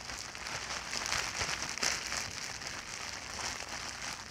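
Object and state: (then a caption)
Plastic bubble wrap. A large clear sheet of plastic bubble wrap with air-filled bubbles is pinched, squeezed and crinkled with fingers and long nails. Its bubbles pop among a steady bright, crackly rustle. The sound is busy and hiss-like, with most of its energy in the high range.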